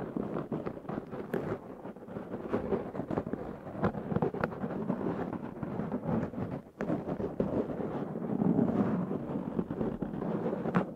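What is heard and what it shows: Fingernails of both hands scratch a black foam windscreen on a Zoom H6 recorder, producing a dense, crackling rustle with many quick scrapes over a low, muffled rumble. The sound holds steady with a brief dip near the middle, then grows louder toward the end.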